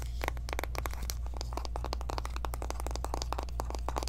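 Long nails tap and scratch quickly on the front and edges of a small, hollow pink cardboard Kylie eyeshadow palette box. The result is a dense run of short, dry clicks and scratchy crinkles over a steady low hum.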